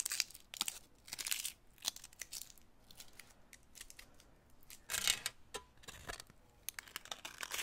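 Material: Aluminum foil.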